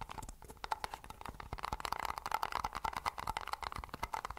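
Fingertips and nails rapidly tap the top and rim of a white plastic lid on a hollow, empty-looking Pepsi paper cup. The result is a quick, dense run of short, dry clicks and crinkly taps with a hollow tone around 875 Hz that stops almost instantly after each hit.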